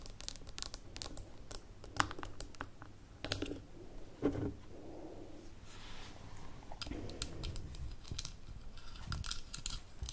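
A small amber glass jar with a gold metal lid is tapped on a table with long nails, then lifted. The result is a quick run of sharp, dry clicks and taps that die away almost instantly, over a low background rumble and some soft rustling.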